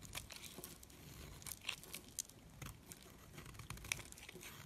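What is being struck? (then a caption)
Molded bar of soap. A metal blade slices and scrapes pieces off a solid red soap molded into a figure and held in the hand. The sound is a quiet run of dry, crunchy crackles and short bright scraping cuts, with a few sharper snaps standing out. Each cut stops almost at once, with no ring.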